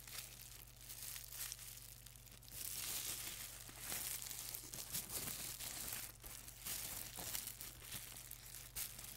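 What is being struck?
Plastic bubble wrap.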